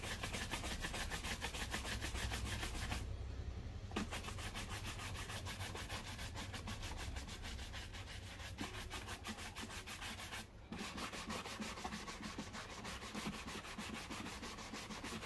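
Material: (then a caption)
Leather. A black leather loafer, worn on a foot, is polished with quick strokes of a wooden-backed bristle shoe brush. The result is a steady, rapid scratchy brushing over a low constant hum, with brief drops in the brushing around 3 and 10.5 seconds.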